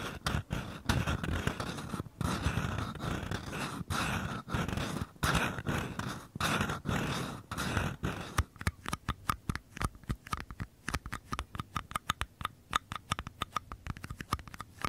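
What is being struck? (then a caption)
Small paper cups. Fingertips tap and scratch the walls and rims of two identical small, empty, hollow paper cups held sideways. The first half is dense, rustling scratching with a low, papery body. The second half turns into quick, separate hollow taps with a short, mid-pitched ring around 1.2 kHz.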